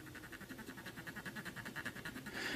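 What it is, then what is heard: Plastic computer case being scrubbed. A cotton swab is rubbed quickly back and forth over the flat, hollow black plastic casing of a Sinclair QL-style retro computer held in one hand. Short, even scrubbing strokes make a steady, rhythmic squeaky rasp with a pitched tone around 1.9 kHz. The rubbing turns brighter and hissier in the final moments.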